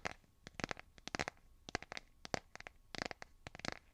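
Fingernails tap and scratch the back of a solid, hand-sized smartphone in a light blue plastic or silicone case. About seventeen short, dry clicks and scrapes come in quick, irregular clusters. Each is bright and crisp with almost no ring, over a quiet background.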